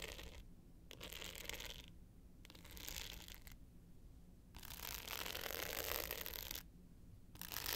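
Long pointed nails scratch the dark blue glitter face of a small rectangular hollow hard-case clutch with a gold metal frame, held tilted up. Bursts of dry, gritty scratching with a bright, hissy edge alternate with short quiet pauses, the longest and loudest stretch coming near the end. A faint steady low hum runs underneath.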